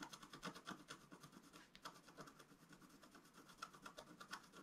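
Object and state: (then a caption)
Scratch-art paper being scratched. A wooden stylus scratches short strokes on the lower right of a flat, black-coated scratch-art paper sheet lying on a table. It makes a quiet, rapid series of dry, raspy scratches with a bright edge and a tone centered around 1.3 kHz, each stroke stopping almost instantly.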